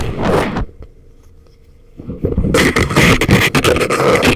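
Thin wooden ear picks scrape inside the ear canals of a pair of life-size, soft, solid rubbery silicone ear models used as a binaural microphone. A short burst of rough, crackly scraping is followed by a near-silent pause, then dense, loud scratching fills the rest of the clip with close, bright rustle over a low rumble.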